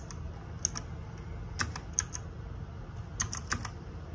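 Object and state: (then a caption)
Plastic mechanical keyboard being typed on. Fingertips and nails type on the plastic keycaps of a small RGB-backlit 60% mechanical keyboard. Irregular, short, bright clacks arrive singly and in quick clusters, each dying away almost instantly, over a steady low rumble.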